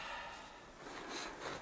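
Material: Nothing is struck.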